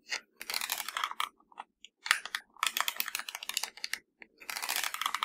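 Fingertips and nails tap and press the buttons of a hollow black plastic universal TV remote. Rapid bursts of dry, bright clicks clatter like typing, separated by brief pauses. Each click is short and light with no low-end weight.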